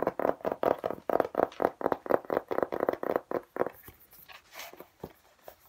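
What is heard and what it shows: A flat, hollow-shell hard plastic laptop case with an embossed geometric pattern is held in both hands and fast-tapped with the fingertips on its textured face. About twenty dry, hollow midrange taps come in a quick, slightly uneven rhythm, each dying away almost at once. After roughly three and a half seconds the tapping turns softer and sparser.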